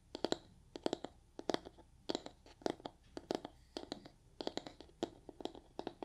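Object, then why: Foam kitchen sponge with scouring layer. Long nails scratch the surface of a soft, porous yellow foam kitchen sponge with a brown scouring layer. Quick, crackly scratches come in irregular clusters, each a dry, bright rasp that stops instantly. The sound stays quiet and close throughout.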